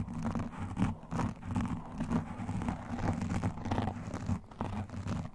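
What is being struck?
Foam microphone windscreen.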